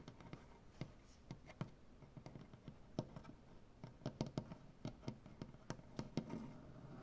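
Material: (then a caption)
Wood. Long dark-painted nails tap and scratch across a solid light-wood butcher block tabletop. About twenty quick, irregular taps land as dull, low knocks that die away almost instantly, over a quiet, soft scratching texture.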